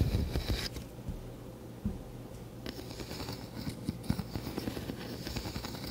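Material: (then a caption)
Wood. A fingertip runs across the teeth of a hand-sized solid wooden wide-tooth comb held up in front of a microphone, scratching and flicking them. The result is quiet, close, low-weighted scratching with soft rapid ticks and a few sharper flicks that add brief bright rasps.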